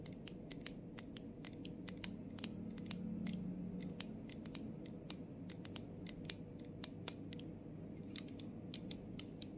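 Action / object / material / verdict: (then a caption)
tap / plastic spray bottle, partly filled / plastic / none. Long nails tap and scratch along the side and label edge of a clear plastic body mist bottle partly filled with liquid. Many quick, sharp, bright clicks come in an uneven rhythm, with soft scratchy rasps between them. A steady low murmur sits underneath throughout.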